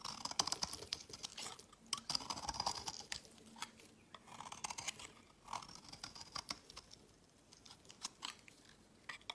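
A utility knife blade shaves and carves a solid, cream-white opaque soap bar held in the hand, dropping a pile of shavings on the mat. Quiet, bright, crisp scrapes and rapid dry clicking cuts come in uneven bursts with almost no low end and no ring.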